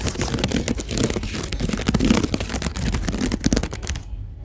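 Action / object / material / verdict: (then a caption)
scrape / woven rope storage basket / twisted rope / none. Fingertips and nails scratch along a large, hollow, empty storage basket woven from white twisted rope with brown strands, sitting on a store shelf, with a mini mic held close. The result is a dense, crackly run of rapid rasping scrapes over a heavy low, close-mic rumble, continuing steadily until it cuts off just after four seconds.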